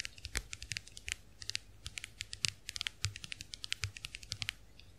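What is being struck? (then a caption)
Plastic compact hand mirror. Long acrylic nails tap rapidly on the plastic backs of a small round white plastic clamshell compact hand mirror held open. The sound is a dense run of sharp, bright clicks with a very short ring, irregular and quick like typing, over a faint low hum.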